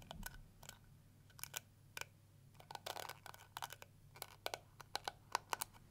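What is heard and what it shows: Long nails scratch and strum the plastic teeth of a round pink and yellow plastic detangling brush with a hollow shell. The result is a quiet series of sharp, dry clicks and brief scratchy bursts with bright high edges, each dying away almost instantly over a faint low hum.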